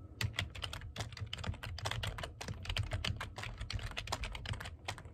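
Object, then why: Plastic computer keyboard. Fingertips type fast on the keys of a black plastic computer keyboard. A rapid, uneven stream of short, bright clicks with quick decay runs over a steady low hum.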